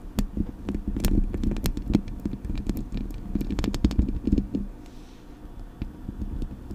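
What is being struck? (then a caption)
Metal microphone body and mesh grille. Long acrylic nails tap the metal body of a Blue Yeti microphone, then scratch and tap its metal mesh grille. Rapid, sharp clicks ride over a low, thumpy resonance. A brief quieter, scratchy stretch follows before a few last taps.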